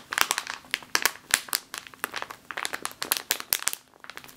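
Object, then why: Plastic bag of flour. A full plastic bag of flour is held in both hands and scratched and squeezed with long nails. Rapid, bright crinkling and sharp crackles come in dense bursts with almost no low end, each snap dying away almost instantly.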